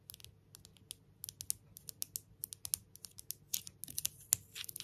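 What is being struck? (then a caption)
Engraved stone pebble. Long nails tap and scratch all over a palm-sized, solid grey stone pebble engraved "Love," held between both hands. Quick, irregular clicks and scrapes come in bursts, all very short and bright with almost no ring, over a faint low hum.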